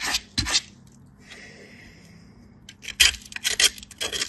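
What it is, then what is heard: Soap bar grated on a metal grater. A solid pale piece of soap is grated on a stainless-steel box grater, held by fingertips with light-blue nails. Bursts of bright, rasping scraping strokes come in quick, uneven succession, with a quiet pause in the middle before the strokes resume.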